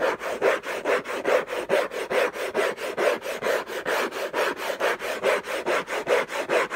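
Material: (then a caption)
Cardboard. Fingertips and short nails scratch the lid of a closed, long rectangular orange Hermès cardboard gift box covered in textured paper, lying on a fluffy blanket. About 22 quick, rhythmic rasping strokes come at roughly two per second, each a dry scrape centred near 500 Hz with a hiss reaching into the highs.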